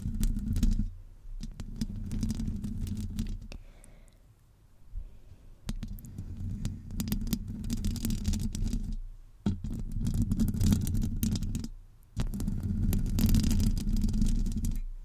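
Long almond-shaped nails scratch the sides of a hollow metal mesh microphone grille. Stretches of dense, rasping scratching carry a heavy low, boomy rumble. The stretches are broken by brief quiet gaps before the scratching resumes.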